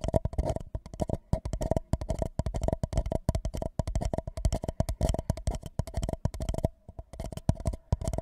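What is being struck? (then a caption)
Empty paper cup. An empty white paper cup held over the microphone is tapped along its sides with fingertips in quick, uneven bursts. Each tap is a dull, hollow, low thump that dies away almost at once, with a faint ringing tone in the cup's body. A brief gap falls shortly before the tapping resumes.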